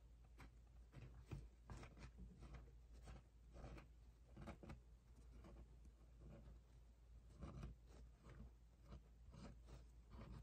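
Long painted nails and fingertips scratch and tap across the thin, flat September page of a large paper wall calendar held upright. Soft, quiet scratching and rubbing strokes mix with brief light taps over a steady low hum, each stroke dying away almost at once.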